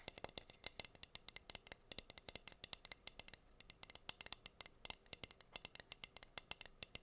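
Long green nails scratch and tap the bare surface of a plain, flat, solid wooden (bamboo-like) heart-shaped cutting board with a hole, about 25 cm across and held in both hands. A quiet, rapid, irregular series of sharp, dry clicks and scratches is heard, bright and crisp with almost no low end. Each sound dies away instantly.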